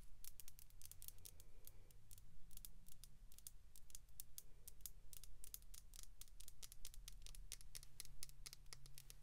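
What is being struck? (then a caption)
Hollow plastic capsule ball. Long pink acrylic nails tap and scratch a small, hollow, clear plastic capsule ball filled with pink glitter. The result is a rapid, uneven stream of short, sharp, bright clicks with quick scratchy strokes over a faint low hum.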